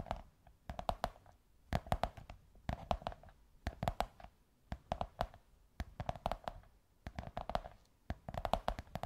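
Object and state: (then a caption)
Cardboard tube tapped with fingernails. Long white nails tap and scratch the curved surface of a large beige kraft cardboard tube. Quick bursts of soft, dry taps carry a hollow, mid-pitched ring that dies almost instantly. Faint scratching fills the short pauses between the clusters.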